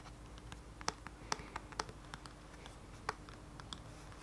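A closed, flat black plastic contour palette is tapped quickly on its printed back with fingertips and nails. It makes a quick, uneven run of short, dry clicks and ticks with bright edges, some sharper where the nails land. The taps are quiet and die away instantly over a low steady hum.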